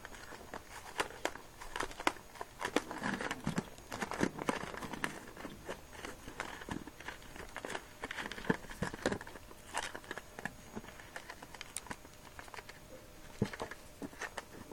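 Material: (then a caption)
Latex rubber. A small, filled, squishy red latex balloon, its neck visible, is squeezed and kneaded with both moist hands, one of which wears a ring. The result is a steady run of quiet, dense crinkling and crackling squeaks, with many short, sharp ticks over a soft rubbery rustle.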